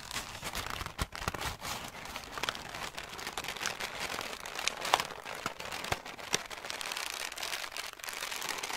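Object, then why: Ball of thin packing paper. A loose, hollow ball of thin greyish-brown packing paper is squeezed and crumpled between both hands with the fingertips. The result is a steady, dense crinkling and crackling, bright and hissy, broken by sharp, quick snaps that die away at once.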